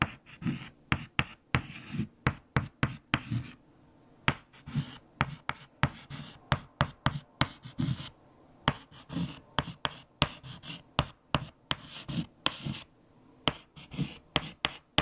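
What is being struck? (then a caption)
White chalk on a flat chalkboard. Fingertips hold a stick of white chalk and write equations on a large, flat black chalkboard. About 28 sharp, dry taps and short scratchy strokes come in quick, uneven bursts, each with a low knock and a bright scrape that die away almost at once. Brief pauses fall between the runs of writing.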